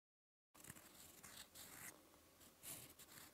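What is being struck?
Metal pen nib on lined paper.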